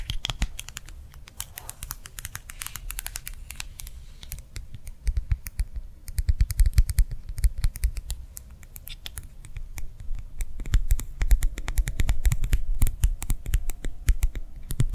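A small round clear plastic gel-filled hand warmer pad lying on a palm is tapped rapidly with long nails. The taps come as fast, sharp clicks with a dull low thump under each. The tapping runs continuously with no talking.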